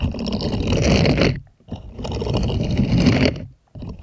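A purple silicone scrubber glove is rubbed and scratched by plastic puppet hands moving over its bristles. Two long bursts of dense, low, rustling scraping each last about a second and a half, with a brief pause between them.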